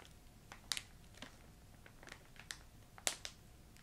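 A filled yellow plastic ginger candy bag has its top edge crinkled and squeezed with long nails and fingertips. Eight sharp, bright crackles and crinkles pop out over a quiet, hissy background, each dying away almost instantly.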